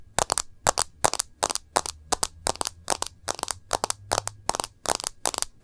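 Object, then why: Smartphone in a plastic case with glass screen. Long nails tap the edge and glass screen of a smartphone in a rose-gold plastic case. Quick clusters of sharp, dry, bright clicks repeat at a steady but uneven pace. Each tap stops instantly with no ring.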